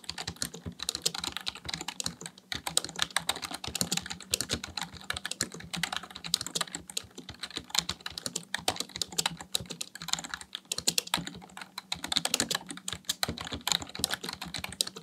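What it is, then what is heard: Plastic computer keyboard being typed on. Fingertips type rapidly on a black plastic full-size computer keyboard resting on a desk. The result is a dense, continuous stream of sharp, bright key clicks with very short decay, pausing briefly around the two- and ten-second marks. A faint, steady low hum sits underneath.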